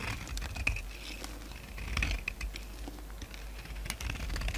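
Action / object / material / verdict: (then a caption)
scrape / bar of soap scraped with a knife / soap / none. A solid white bar of soap held in the hand is scraped and shaved with a utility knife, shedding crumbly white flakes. Quick, dry scratching and crisp ticking clicks repeat irregularly over a soft low rumble, with a faint high tone near 2.5 kHz ringing through some strokes.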